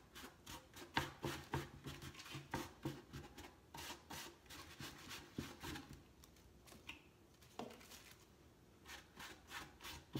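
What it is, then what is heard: Wooden crate being rubbed. A hand rubs the side boards of a large, hollow, empty grey-washed wooden crate with X-brace sides, using a cloth or sanding pad. The result is a quick, uneven series of dry, scratchy rubbing strokes with bright, hissy edges and a light hollow knock from the boards. Each stroke fades almost instantly.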